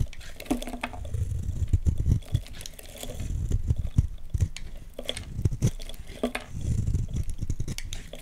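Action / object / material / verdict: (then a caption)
scrape / bar soap cut with a blade / soap / none. A utility knife blade scrapes and carves curly shavings off a solid oval orange Lux soap bar held in the hands. The repeated scraping strokes come through as soft, low, muffled rasps in uneven bursts, with short crisp ticks and almost no ring.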